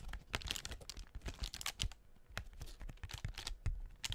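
Long painted nails tap and scratch the paper cells of a hollow blue tissue-paper honeycomb half-ball, which is attached to a cardboard doughnut cutout and held by hand. The result is a quick, irregular run of dry, papery clicks and soft crinkling scratches with a bright edge near 3 kHz, each tap dying away almost at once.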